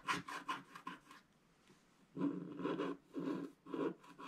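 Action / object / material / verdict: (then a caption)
scrape / wax-coated scratch-art card scraped with a wooden stick / wax coating / none. A wooden scratching stick scrapes the black wax coating off the upper clouds of a flat, thin scratch-art picture card lying on a table. A run of quick, short, dry rasps is followed by a near-silent pause, then four longer, fuller scraping strokes with a soft papery hiss.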